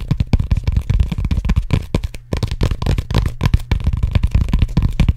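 Fingertips and nails rapidly tap and scratch the bumpy surface of a large, hollow, black cylindrical foam roller made of textured closed-cell foam, held in both hands in front of the microphone. The result is a fast, continuous stream of dull, dry, low thuds that stop almost instantly, with faint scratchy texture between them and almost no bright content.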